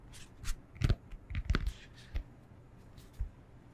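Fingernails scratch and rub across the textured face of a solid rectangular foam yoga block, making six short, dull scraping thumps at an irregular pace. The sound is soft, low and muffled, with brief airy scratch noise on top and no ring after each stroke.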